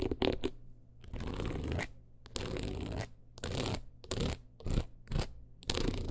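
A long nail runs and taps across the stones of a teal rhinestone-covered clutch wallet held in hand. It makes quick bursts of gritty, clicking scratches that reach bright highs over a steady low rumble, separated by short pauses.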